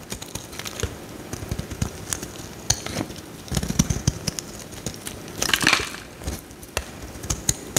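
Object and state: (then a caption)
Bar of soap being shaved. A metal utility knife blade scrapes curls off a solid bright green bar of soap held in the hand. Crisp, crinkly scraping and crackling come in quick, uneven strokes with dull low thuds beneath. A longer, brighter rasping stroke sounds near the end.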